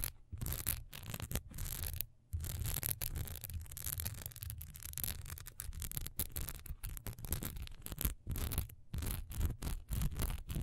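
Long nails scratch fast over the textured sides and top of a single solid wax pillar candle with a diamond-patterned surface, held upright and then tilted in the hand. The result is a steady run of dry, rasping scratch strokes with bright hiss, broken by brief pauses, over a heavy low rumble from the handling.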